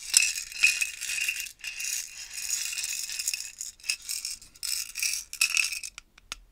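Small purple and coloured glass beads rattle inside a clear plastic stacking jar tower, partly filled and held in both hands with long nails as it is shaken and tilted. Bright, dense bursts of rattling with a faint ringing tone near 2.6 kHz rise and fall in waves, with almost no low end. It ends with a few short, sharp clicks as the tower is turned upright.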